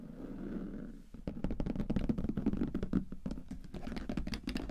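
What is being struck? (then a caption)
Leather briefcase. Fingertips and nails tap rapidly on the top flap of a closed, hollow brown leather briefcase with metal clasps lying flat on a table. After a second of soft, low rustling, a quick, irregular run of dull, low tapping follows, with short-lived clicks that are faintly bright.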